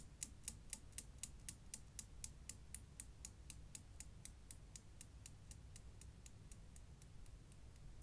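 Five solid chrome steel balls on a Newton's cradle swing in small arcs, producing quiet, bright clicks as ball knocks ball. The 29 clicks come about four per second, each very short with almost no ring. They gradually fade over a low background rumble.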